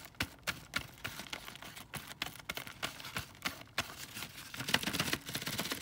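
Fingertips and nails tap on the plastic windows and cardboard of a windowed cardboard box full of foil chocolate Santas. The result is a quick, irregular run of short, dry clicks and taps with a bright, crisp edge and almost no ring, growing denser and slightly louder near the end.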